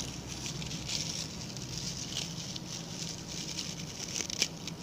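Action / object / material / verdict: scrape / coir bristle brush / coconut fiber / none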